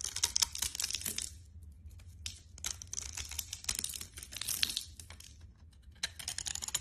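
A metal blade scrapes and chips the scored surface of a solid green bar of soap held in the hand, sending crumbles falling off. Quiet, bright, crackly scraping bursts come in uneven clusters with brief pauses, each sound dry and short with almost no ring.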